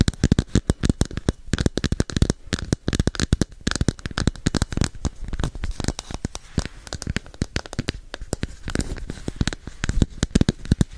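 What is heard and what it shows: A red and orange hollow, hand-sized plastic capsule is held beside a microphone while long painted nails tap and scratch it. The result is an 11-second stream of rapid, dry clicks and scrapes with almost no ring and a low, hollow weight.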